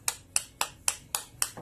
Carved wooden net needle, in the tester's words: It doesn't have a thud to it. Sounds thin.